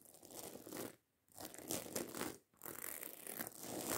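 Long acrylic nails scratch and tap quickly over a medium-size, hollow black fabric handbag covered in rows of small silver metal studs. The result is a dense, bright, crinkly rasping with tiny clicks, broken by two short pauses before it resumes.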